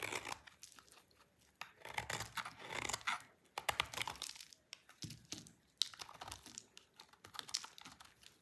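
A utility knife blade scrapes a solid, dry blue soap bar in short, repeated strokes, with crunchy chips piling up. Each stroke gives a bright, dry, crackling scrape with almost no low end, separated by brief quiet gaps.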